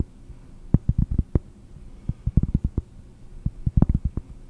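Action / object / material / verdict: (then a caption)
tap / flat cork board disc / cork / none. A round, flat, solid cork disc is tapped with long nails while held close to the microphone, giving seventeen dull, muffled low taps in three quick bursts. Each tap dies almost at once with no ring, over a faint low hum.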